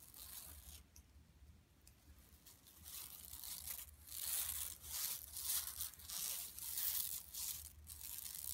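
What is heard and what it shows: Long nails on both hands scratch the mesh of a flat, empty yellow woven plastic mesh tote bag lying on carpet. It makes dry, bright, rasping strokes in an uneven rhythm, soft at first and growing louder and busier after about three seconds, over a faint low hum.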